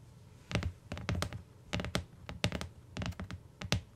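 Long nails on both hands tap the cover and bottom edge of a closed tan hardcover book with a cardboard cover, lying on a fur rug. Quick, irregular clusters of dull, low, hollow thunks with bright clicky edges die away almost instantly, separated by short quiet pauses.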